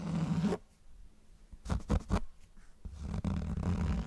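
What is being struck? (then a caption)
Cloth-covered hardcover book. Fingertips scratch and tap the cover of a closed grey cloth-bound hardcover book held close to the mic. Stretches of low, muffled scratching frame a short cluster of soft, dull taps in the middle. The sound stays deep and rumbly, with almost no bright edge.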